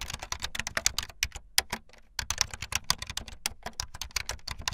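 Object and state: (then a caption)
Plastic membrane keyboard, fast typing. Fast typing on a full-size backlit plastic Bluetooth membrane keyboard with white and blue plastic keycaps and a hollow plastic body, the keys pressed with fingertips and the tips of long painted nails. A rapid stream of bright, dry, clattering clicks dies out instantly. There is a brief pause just before the two-second mark before the typing resumes.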